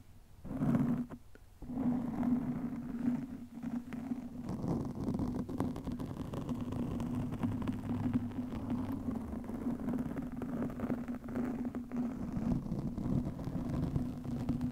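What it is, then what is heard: Foam microphone windscreen scratched. Long nails scratch a black foam windscreen over a microphone, producing a dense, continuous crackling rumble with a steady low hum beneath it. The scratching briefly drops out near the start, then carries on steadily to the end.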